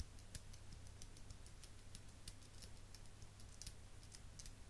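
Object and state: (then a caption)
Metal eyelash curler clicking. A small chrome metal eyelash curler, held in the hand, is squeezed repeatedly with the fingers. This produces a quick series of soft, dry metallic clicks with bright, high ticks. A steady low hum sits underneath throughout.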